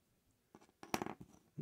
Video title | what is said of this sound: 💥Improvised blasting cap💥 | It sounds like metal. If you roll them tight enough, that's basically what you end up getting.